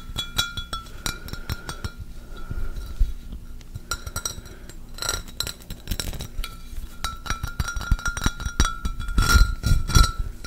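Fingertips and nails tap and scratch the embossed surface of an empty, hollow, clear pressed-glass pitcher held up close to the microphone. Quick, irregular glassy clinks and taps carry a faint ringing tone near 1.3 kHz, mixed with soft scratching and dull low thumps. Denser, louder bursts of tapping come near the middle and toward the end.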